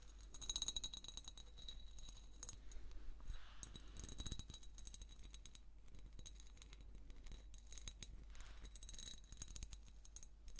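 Long painted nails slowly scratch and tap the ribbed surface of a hand-sized hollow jar of ribbed amber glass held in both hands. Soft, dense scratching mixes with light, quick clicks and a faint high glassy ring over a steady low hum, staying quiet throughout.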